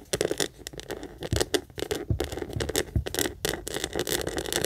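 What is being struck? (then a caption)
Small leather heart-shaped purse. Long nails rapidly scratch and tap the flat front face of a small, hollow, pink leather heart-shaped purse held up facing the camera. The result is a quick, continuous run of dry scrapes and short, soft taps with a hollow body around 400 Hz and bright, crackly edges. Occasional deeper thumps stand out from the steady patter.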